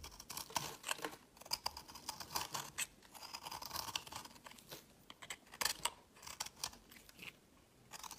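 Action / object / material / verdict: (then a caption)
scrape / soap bar scraped by a metal blade / soap / none. A metal utility blade scrapes crumbly shavings off a solid, palm-sized, blue-green marbled soap bar held in the hand. The sound is a quiet run of dry, bright, scratchy scrapes in short, irregular bursts, with almost no low end and no ring after each stroke.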